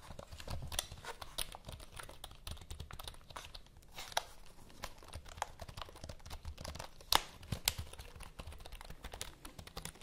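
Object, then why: Plastic computer keyboard. Long nails tap the keys of a black plastic computer keyboard held near the mics and scratch across its surface. The result is a dense run of quiet, sharp clicks and scratchy rustling with bright edges over a soft low rumble, with a few louder taps standing out.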